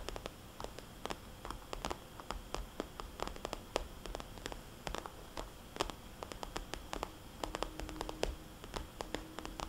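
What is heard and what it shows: Long painted fingernails tap quickly on a small red polka-dot cosmetics bag made of glossy vinyl. The result is a rapid stream of sharp, bright clicks with a soft, hollow quality, heard over a steady low hiss.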